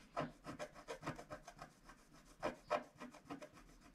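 A wooden stylus repeatedly scratches a flat scratch-art card of black wax-coated paper lying on a cloth-covered table, with the other hand held flat on the sheet. About a dozen quick, dry scraping strokes come in an uneven rhythm, each with a slight midrange squeaky tone. The strokes stop short with almost no ring.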